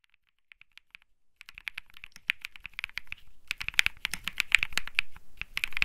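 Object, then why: Mechanical keyboard with plastic keycaps. A small cream-white Think 6.5 mechanical keyboard with plastic keycaps, resting on a grey felt mat, is typed on rapidly with fingertips. A few sparse, light key clicks lead into a dense, irregular run of sharp, bright keystrokes, with a low thock under each press.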